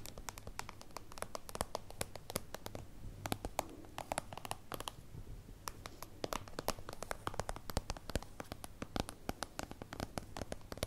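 Long acrylic nails scratch and tap across a small, hollow, translucent soft-plastic holographic zip pouch, a plastic pencil case, while it is held. A dense stream of quick, crisp, bright clicks and crinkly scratches runs throughout over a faint, steady low hum.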